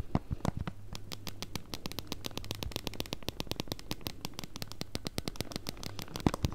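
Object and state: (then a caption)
Plastic game console case tapped with nails. Long nails rapidly tap and scratch across a pink Nintendo Switch Lite in a hard plastic case, small and solid and held in both hands, working over the case surface and the buttons area. The result is a dense run of quick, dry clicks and crackly scratches with bright edges over a steady low hum.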